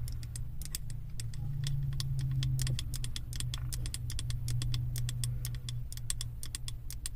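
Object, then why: Wax-filled glass candle jar tapped with long nails. Long acrylic nails tap quickly and unevenly on the side wall of a held, labeled, wax-filled glass 3-wick candle jar. The taps are short, bright clicks with almost no ring, and they sit over a steady, loud low rumble that makes up most of the sound.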